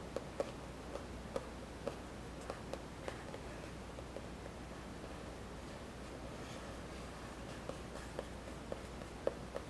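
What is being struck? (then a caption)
Spiral notebook with cardboard cover. Fingertips and nails tap and scratch the printed cardboard cover of a spiral-bound notebook lying on a wooden table. About 11 soft, dry taps with a faint mid-pitched click near 540 Hz stand out over a low, steady hum and quiet scratching. The taps are clustered in the first three seconds and the last two.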